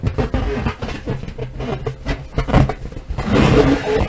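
Long nails and fingertips tap and rub a large, hollow, air-filled purple latex balloon with white polka dots, held over a wooden table with deflated balloons lying untouched nearby. The taps come as quick, dull, low thumps with a faint hollow boom around 133 Hz that dies almost at once. Toward the end the rubbing grows louder, adding a brighter, squeaky rasp.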